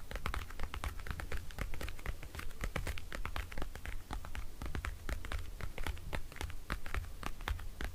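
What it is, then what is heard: Plastic compact mirror tapped and scratched. Fingertips and nails tap and scratch the lid of a small, round, pink patterned plastic compact folding mirror, closed and lying on a wooden table. Its hollow hard plastic case gives a rapid run of short, dry clicks and bright scratchy ticks over a steady low hum.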